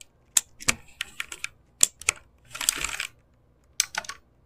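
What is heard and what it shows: Fingertips type and tap on a full backlit mechanical keyboard with plastic keycaps, giving bright, sharp, dry clicks with almost no ring. Irregular single clacks are broken midway by a brief rapid burst of clatter, then a final short flurry of taps.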